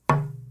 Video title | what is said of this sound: KIM WALKER 03 - Tap Tone Wood | a slight bit more reverberance in this, but it's not anything like the Brazilian